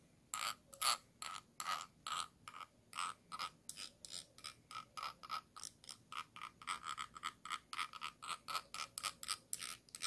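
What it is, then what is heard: Glass jar, scratched. A thin stick tool scratches the ridged bottom rim of a small, round, clear glass jar with a yellow lid, held hollow in the hand. About 39 short, quick scratching strokes come in a steady, rhythmic run, each a bright, ratchet-like rasp with a glassy ring around 1.2 kHz that stops almost at once. There is no low-end body and a quiet background between strokes.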